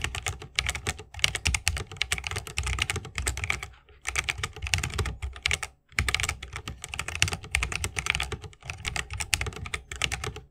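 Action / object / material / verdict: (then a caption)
tap / mechanical keyboard, plastic keycaps, wooden case / plastic / none. Fingertips of both hands type fast on a 60% mechanical keyboard with plastic keycaps on tactile switches, set in a solid bamboo wooden case, RGB lit, resting on a wrist rest. Dense bursts of short, bright clicks and clacks with a low thock underneath are broken by brief pauses near 4 and 6 seconds. Each keystroke dies away almost instantly.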